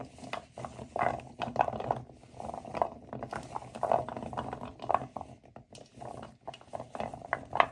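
Hands with nails grind and rub a pile of dry, solid natural cork wine stoppers in a white bowl. The corks make a steady stream of dry cork-to-cork creaks and clicks, with a squeaky midrange tone. The rubbing swells into louder creaky bursts every second or so.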